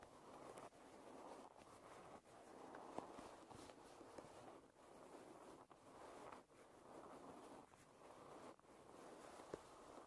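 Fingernails tap and scratch along the wooden rim of a wooden hairbrush held edge-on. A soft, continuous scratchy rasp sits mostly in the low-mid range, broken by short pauses and a few sharp, quick taps. The sound stays quiet and close.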